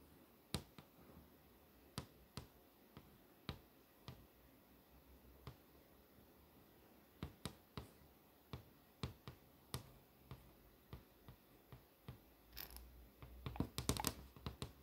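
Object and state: LCD monitor screen tapped with nails.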